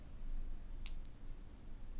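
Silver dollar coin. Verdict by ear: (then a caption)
Real. A genuine 1880 silver dollar coin is sound-tested for comparison with a fake: a single clear, high-pitched ring with bright tones. The tone sustains to the end of the clip over a low background rumble, unlike the fake coin's quickly dying sound.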